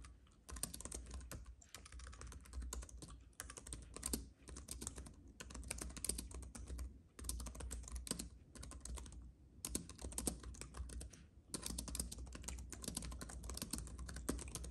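Fingertips of both hands type rapidly on a compact white keyboard with plastic keys on an aluminium base, resting on a fuzzy mat. Quick, short, bright key clicks come in dense bursts separated by brief pauses, over a steady low hum.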